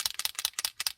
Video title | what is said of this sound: ATC - artist trading cards - start to finish from coloured background to choosing animals | You can hear the ball bearing inside, and that just moves the ink about.